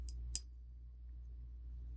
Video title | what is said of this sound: How to identify a fake coin with one simple tool. It's cheap too! | a coin, especially a silver one, is going to make a really interesting, just ringing sound